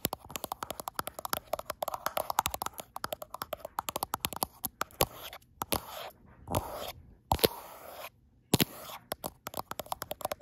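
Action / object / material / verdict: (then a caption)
tap / smartphone with a glass back / glass / none. Long acrylic nails tap and scratch the flat frosted glass back of a gold iPhone Pro near its camera bump, the phone held in one hand. Dense bursts of sharp, dry clicks with bright, crisp edges come in rapid clusters. Short soft scraping patches and brief silent gaps fall between them.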